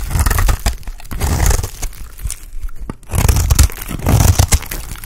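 A blade scrapes crumbly flakes off the end of a solid, dry white bar of soap. Dry, crunchy tearing and scraping bursts come with a deep low rumble and bright crackle, briefly quieting near the middle before resuming.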